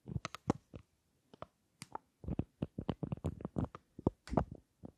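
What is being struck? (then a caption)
Small metal-framed lipstick case. Long acrylic nails tap and scratch a small rectangular lipstick case with a gold metal frame and black glossy panels. The result is a quick, irregular run of soft, dull taps with a low thud body and faint bright clicky edges. Each tap dies almost instantly, with short pauses between clusters.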